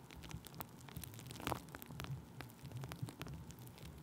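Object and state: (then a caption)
Plastic bubble wrap. Thin clear plastic bubble wrap stretched over a microphone is tapped and rubbed with a wooden stick, giving a steady stream of soft crinkling, crackling taps over a muffled low rumble. A few sharper, brighter taps stand out, and each one dies away almost instantly.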